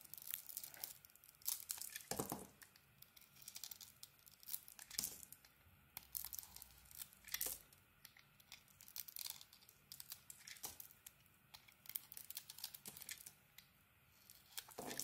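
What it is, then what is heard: Bar soap being carved. A metal blade carves a solid green bar of soap covered in glitter sequins, making bright, crisp scraping and crackling cuts in repeated short bursts. The cuts come through quiet and high-pitched, with little low end and quiet pauses between strokes.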